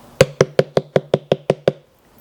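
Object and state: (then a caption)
Ripe watermelon. A watermelon held up near the ear is tapped gently on its side with an open hand, giving nine evenly spaced, short knocks. Each knock has a clear, fairly high-pitched tone with a quick decay, the high-pitch sound that shows a firm melon.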